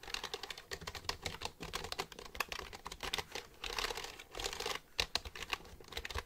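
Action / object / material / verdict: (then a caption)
tap / plastic computer keyboard / plastic / none. Fingertips type on the keys of a black plastic computer keyboard held upright. A fast, uneven run of sharp, bright plastic clicks and clacks follows, with some bursts blurring together. Each click is dry and stops almost at once.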